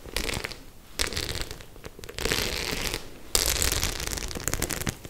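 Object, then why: Faux leather clutch with metal studs. A white faux leather clutch with metal studs, held in both hands, is scratched and tapped by long nails on its studs. Dense, bright crackling scratches come in bursts, with sharper taps and clicks mixed through.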